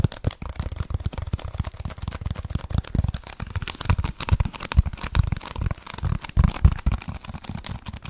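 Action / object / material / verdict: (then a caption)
scrape / foam block / foam / none. A solid, dark speckled foam block is scratched and tapped fast with fingertips and nails close to the mic. The result is a dense, continuous stream of quick, dull, low thumps and soft scratchy rustles with no ring after each touch.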